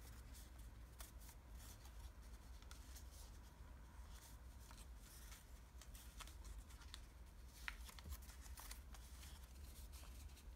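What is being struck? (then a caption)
Thin origami paper sheet. A partly folded sheet of thin red origami paper is held in both hands while fingertips crease, fold and rub its layers. Soft, bright papery crackles and quick ticks come and go over a steady low hum. The level stays quiet throughout, with one slightly sharper snap near the end.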